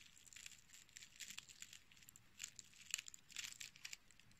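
A small dried dark-red rose head with green dried sepals and a short stem, brittle and solid, is squeezed and crushed between fingertips and nails. The result is a dense series of quiet, dry, crunchy crackles, bright and high with almost no low end. Short louder bursts appear near the middle and toward the end.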